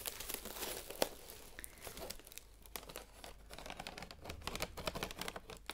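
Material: Aluminum foil.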